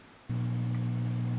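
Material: Nothing is struck.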